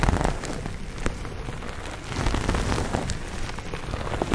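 A hand-sized grey textured foam sponge on a tan foam handle base, solid and porous and held in both hands, is lightly scratched with fingernails. The result is a dense, soft, continuous crackling patter, much like rain on a surface, with most of its energy low and muffled and only faint brightness on top.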